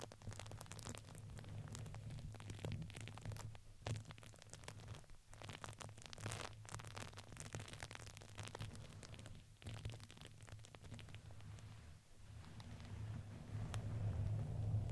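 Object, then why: Fuzzy fabric ring with crinkly filling. A red, fuzzy fabric ring around a microphone head, soft and hollow with a crinkly filling, is squeezed and scratched with fingertips and long nails. A continuous crackly rustling and scratching runs over a steady low hum near 100 Hz, with brief dips between bursts. It grows louder toward the end.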